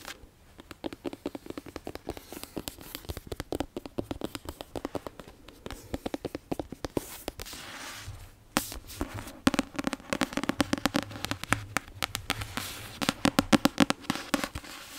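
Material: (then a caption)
Paper. A paperback of Harry Potter and the Prisoner of Azkaban, a solid paper book with a paper cover held in the hand, has its cover tapped and scratched with long nails. A rapid stream of short, dry, crisp clicks and light scratches plays throughout, with no ringing after each tap. Midway the book is briefly lowered near the mic, and the taps turn fuller and louder.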